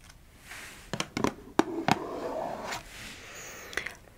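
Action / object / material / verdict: tap / small closed cardboard box / cardboard / none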